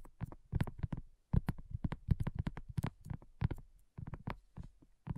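Long nails and fingertips tap rapidly on a flat, round, pink dotted silicone coaster that is thin and solid. The result is a quick, uneven patter of soft, muffled, low thuds that die away almost instantly, broken by a couple of brief pauses.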